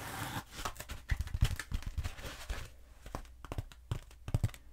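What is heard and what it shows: A long black textured foam roller, held diagonally, is scratched and tapped with long acrylic nails. Soft rustling scratches mix with quick, irregular taps that thump low and have short, bright clicky edges. Each tap dies away almost at once.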